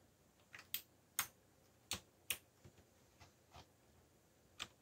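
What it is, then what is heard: Plastic mechanical keyboard being typed on. Fingertips type on the keycaps of a backlit black plastic mechanical keyboard, producing quiet, sharp, bright clicks with almost no ring. The keystrokes come at an uneven pace, some louder and some softer, over a faint steady background hiss.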